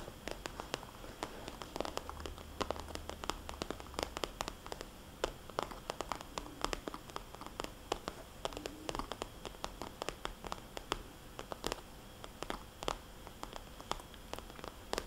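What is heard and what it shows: Long, dark-painted fingernails of both hands tap and trace across a small, soft, hollow red zippered cosmetics bag with white polka dots, made of glossy coated vinyl or plastic. The result is quiet, rapid, irregular fingernail clicks with bright, crisp edges and almost no ring. Soft scratchy rustling fills the gaps between the clicks, with a faint low hum early on.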